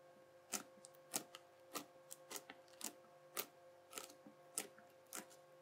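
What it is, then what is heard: Crunchy bubbly slime. A yellow plastic knife is pressed flat and edge-on into flattened, bubbly teal crunchy slime. Short, bright crackling pops sound at an uneven pace, roughly every half second, each dying away almost instantly. A faint, steady tonal hum runs underneath throughout.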